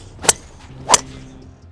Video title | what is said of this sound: NEW Callaway Paradym Driver Fitting // DJ & Johnny Wunder | the sound of these drivers. They're solid.